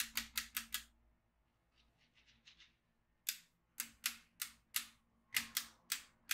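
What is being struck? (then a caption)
Plastic magnetic drawing pad with steel beads. A yellow magnetic pen is drawn over the grid of a black plastic magnetic drawing pad filled with steel beads, making the beads click. A quick run of sharp, bright clicks gives way to a stretch of faint, softer ticks, then more loud, bright clicks follow at a steady pace. Each click is short and dry.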